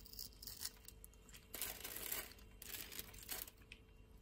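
A small metal blade scores a palm-sized, solid pink Camay bar of soap into a grid while long painted nails hold it in one hand. Quiet, dry, bright scraping and crumbly rasps come in short bursts, some longer strokes among them, as small cubes are shaved off and crumble away.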